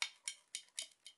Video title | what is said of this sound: presentation cyma cm030 | quand on tape dessus je vais le faire avec le chargeur voilà tout est en métal en fait il est en full métal